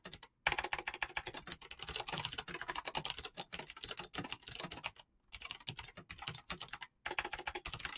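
Fingertips type quickly and continuously on an RGB-lit mechanical keyboard with green clicky switches and pastel PBT plastic keycaps. A dense stream of bright, crisp clicks with very short decay is broken by brief pauses near the start, around five seconds, and around seven seconds.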